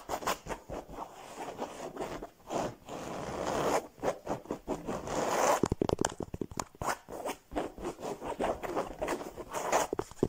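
Fingertips and nails scratch a soft cushion with a woven, embroidered cloth cover showing a ladybug and flowers. Quick, rasping strokes come in uneven bursts, with a dry, zipper-like scratch centered in the midrange, some sharper fast flicks partway through, and almost no low rumble.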